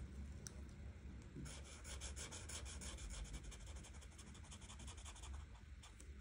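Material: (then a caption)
Paper. A felt-tip art marker, held by a hand with red nails, rubs back and forth in coloring strokes across a thin printed paper page of a coloring book lying flat. Quiet, rapid, bright scratchy strokes begin about a second and a half in and continue to the end over a steady low rumble.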